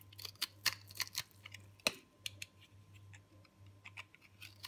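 A solid round ball of hard, dry, green-purple recycled soap is held in the hand and scraped and shaved with a metal box-cutter blade. Quiet, bright, crisp scraping clicks come in irregular bursts, with a low hum running underneath. One sharper, louder scrape stands out near the middle.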